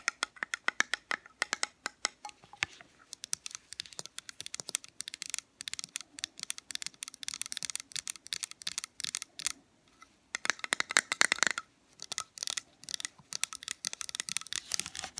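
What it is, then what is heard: Metal candle tin. Long fingernails tap rapidly on the sides and lid of a small, round, metal soy candle tin that is filled with wax and has its lid on. The taps are dense, bright and clicky, with a faint ringing tone around 1.6 kHz and almost no low end. They run steadily for about fifteen seconds, with a brief pause near the ten-second mark.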